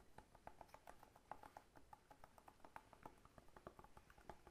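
A whole fresh pineapple with its leafy crown, a solid fruit with a hard scaly rind, is held in one hand and tapped on the rind with the fingertips of the other hand. The result is a quick, uneven run of soft, dry taps with a hollow knock around 840 Hz. Each tap dies away almost instantly, at a low overall level.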